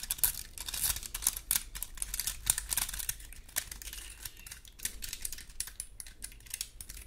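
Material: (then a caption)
Wood. Long gold metal claw nail covers scratch across the scales of a large, dry, woody pine cone. The result is a quiet stream of rapid, irregular, dry clicks and crackling scrapes. The sound is bright, with very short decays and a faint low rumble underneath.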